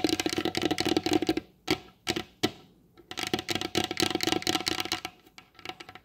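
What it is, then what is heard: Varnished wooden table. Long blue acrylic nail tips rapidly tap the glossy varnished top of a large solid wooden table. Quick bursts of dry, bright clicks carry a faint hollow tone, with a brief pause broken by a few single louder taps before the fast tapping resumes. Each tap dies away almost instantly.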